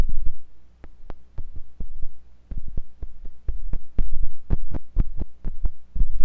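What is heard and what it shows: A thin pointed metal sculpting tool with a wooden handle, held by fingers with long pink nails, scratches and pokes inside the ear canal of a white silicone ear on a block-shaped binaural microphone. Close, muffled thumps and scrapes repeat unevenly over a steady low hum near 62 Hz, with most of the energy deep in the low end.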